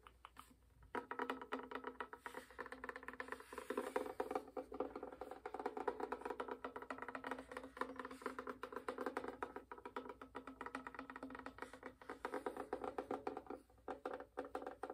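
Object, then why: Wooden violin back. Fingertips and fingernails tap rapidly on the glossy maple back of a hollow wooden violin. The taps are quick, dry and closely spaced, with a hollow woody resonance centred around 250–600 Hz. They fall into a steady, quiet patter after a brief silent start.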